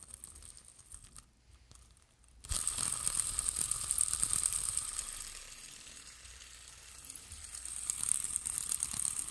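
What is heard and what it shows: A small yellow plastic three-arm fidget spinner with metal bearings and black bearing caps is held close to the microphone and flicked by fingertips with long nails. After a couple of seconds of faint, soft ticking, a sharp flick sets it spinning into a bright, high, rattling whir. The whir dips in loudness midway, then swells again toward the end.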